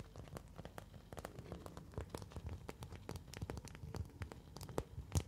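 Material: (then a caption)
Plastic. A thin translucent orange plastic folder sheet, held in both hands, is scratched with long nails and flexed. It gives a quiet, rapid run of short crinkly ticks and scrapes with a dull low body and little ring.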